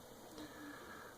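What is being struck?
Nothing is struck.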